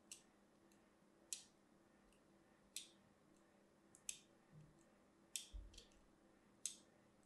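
A thin metal needle scratches a crosshatch pattern into a small, hand-sized solid bar of purple-and-white striped soap held in one hand. Eight sharp, bright scratching clicks stand out, each dying away almost instantly over a faint, steady low hum. One brief dull thump sounds near the end.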